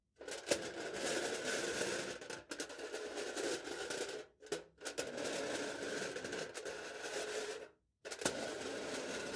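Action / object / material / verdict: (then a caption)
scrape / aluminium foil stretched over a hollow plastic cup / aluminium foil / none. A knife tip repeatedly scratches and presses marks into aluminium foil stretched over a hollow plastic cup held in the hand. Dense, crackly, bright scraping runs in long bursts with a steady band near 1.4 kHz. The scraping breaks off into brief silences before resuming.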